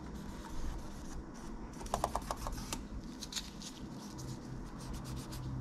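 A gloved hand rubs a cotton swab along the plastic keys and the edge of a laptop keyboard, then near the trackpad. Quiet, steady rubbing and scratching sit over a low hum, with a short run of crisp ticks near the two-second mark and brighter swishing strokes afterward.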